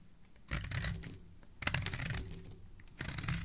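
A solid speckled teal soap bar held in the hand is scraped along its edge with a metal blade. Three separate passes are heard, each a crisp, dry, bright scraping rasp with a soft low rumble underneath, separated by brief quieter gaps.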